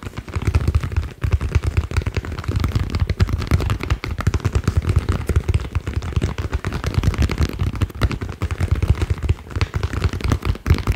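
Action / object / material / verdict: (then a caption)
tap / ball / unknown / none. A green ball is tapped rapidly and continuously, producing a dense stream of short, dull, low-pitched thumps. Each tap dies away almost instantly with no ringing.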